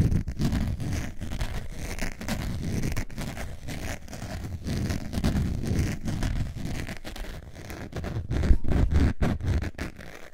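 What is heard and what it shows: Long nails scratch across the face of a beige, textured faux leather zip wallet. Rapid, uneven, dry scratching strokes run continuously, with a dull, low-heavy rasp and little brightness.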